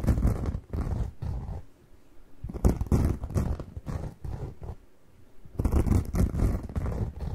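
A single yellow and green cellulose kitchen sponge is squeezed and scratched by fingers up close. It makes bursts of low, rough, crackly rustling that come in clusters, with two brief quieter pauses between them.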